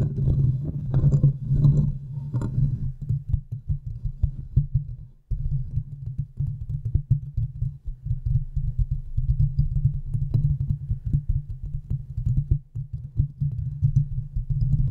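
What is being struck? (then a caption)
Metal wire-mesh microphone grille. Long manicured nails of both hands tap and scratch fast on the hollow domed metal wire-mesh grille of a large silver USB condenser microphone. Dense, rapid, muffled taps and scrapes come through close and boomy, with a low hum around 141 Hz. The first few seconds are louder and brighter, then the sound settles into a steady low patter.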